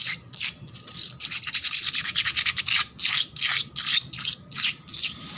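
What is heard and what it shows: Long black nails scratch and rub back and forth across a flat, solid concrete floor with peeling red paint that is wet and foamy. The result is a rapid, irregular series of bright, hissing scrape strokes, some quick and clipped and others longer sweeps, with almost no low end. Short gaps fall between the bursts.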